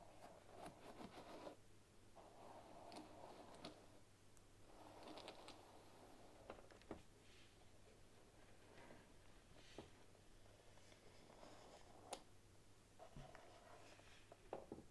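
Long nails rub and scratch the back and handle of a medium-size bamboo paddle hairbrush with wooden pins and a solid wooden body, and then the brush is lifted. Soft scratchy rubbing comes in bursts with a warm mid-range tone, broken by several brief sharp clicks over a low steady hum.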